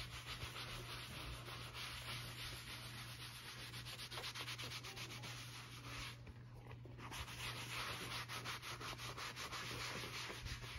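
A brown leather field-notebook cover, a thin flexible flat sheet stitched into a folded cover, lies on a cutting mat while it is buffed by hand with a white fabric applicator pad in circular rubbing strokes. The pad makes a steady, bright, hissy swishing in loosely rhythmic strokes, easing off briefly around the six-second mark before picking up again, over a constant low hum.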